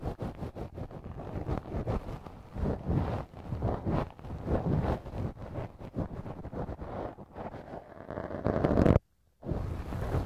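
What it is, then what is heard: Silicone ear model. A wooden earpick held in the fingertips scrapes inside the soft, hollow canal of the left silicone ear model on a binaural microphone. The result is a close, dense run of low, muffled rubbing and scratching strokes. Near the end the scraping swells louder, cuts to brief silence, and then resumes.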